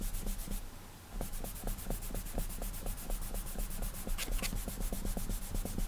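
An index fingertip rubs short, quick strokes across the glass touchscreen of an iPad. The strokes make a soft, repeated brushing with light, bright edges over a steady low hum, with a brief quieter hiss near the start.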